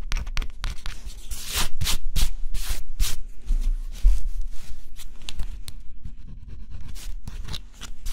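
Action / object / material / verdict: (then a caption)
scrape / coated cardboard puzzle piece scraped with a stylus / coated cardboard / none. A small pointed stylus, held in the fingertips, scratches the black scratch-off coating from flat, thin cardboard jigsaw puzzle pieces lying on a dark cloth. Short, dry, bright scratching strokes come in irregular bursts. A faint low hum runs steadily underneath.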